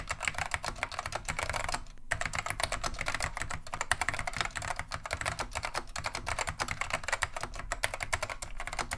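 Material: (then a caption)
Plastic. Continuous two-handed fingertip typing on a beige plastic vintage Wang 725 mechanical keyboard with Alps switches, producing a rapid stream of sharp, bright clicky keystrokes with very short decay. The only break is a brief pause just before the 2-second mark, after which steady typing resumes.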